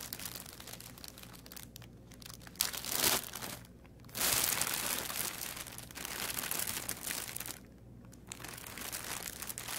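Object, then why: Thin plastic packaging bag. A thin clear plastic bag, about 30 cm long and holding an artificial aquarium plant, is crinkled and rubbed with fingertips while its sealed end is opened. Bright, dense crinkling and rustling continues throughout, with louder crunching bursts near three seconds and from about four seconds on, and short quieter pauses between handling.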